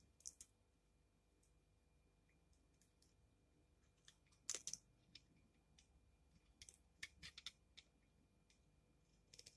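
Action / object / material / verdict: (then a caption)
scrape / bar of soap scraped with a metal blade / soap / none. A utility knife blade scrapes and shaves curls off the edge of a solid rectangular bar of pink soap held in the hand. Quiet, bright, crisp scratches and clicks come in scattered bursts, the loudest cluster near the middle, over a faint steady hiss. Each scrape is very short and dies away almost at once.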